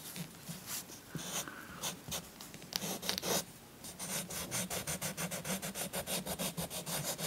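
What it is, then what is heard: Chalk scratched on a paper colouring page. A green chalk stick is scratched back and forth across a paper coloring book page resting on a soft cloth to color in trees. Dry, bright, gritty scraping strokes come in uneven bursts at first, then settle into a quick, steady rhythm of short back-and-forth rubs.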